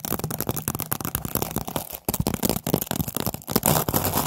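Long painted nails tap and scratch on a stack of hollow, empty orange jack-o'-lantern paper party cups, partly in plastic wrap. Quick, dry, papery taps mix with crinkly scratching in a steady busy flurry, with brief pauses near 2 and 3.5 seconds. Each tap dies away at once with no ring.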